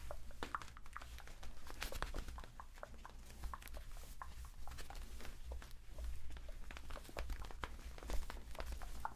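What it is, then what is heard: Inflatable vinyl pool toy. A hand-sized, hollow, air-filled pink inflatable PVC vinyl octopus drink holder, a pool toy, is held in both hands and rubbed and squeezed with the fingertips while being moved around near the microphones. Quick, dry squeaks and crinkly rubbing flicks come in rapid, uneven bursts, some bright and sharp, over a steady low hum.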